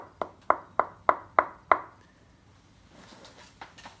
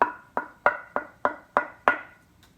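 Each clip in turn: First: walnut board, damped and dull when held. Second: walnut tonewood board ringing when tapped.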